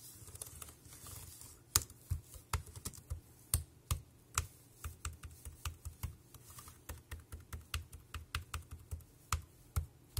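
Bare fingertips type continuously on a dark grey plastic wireless keyboard with round keys, pressing the keys one after another. Many short, dry clicks and clacks follow in an uneven rhythm, each with a low thud under a bright tap and almost no ring. A few keystrokes land noticeably harder than the rest.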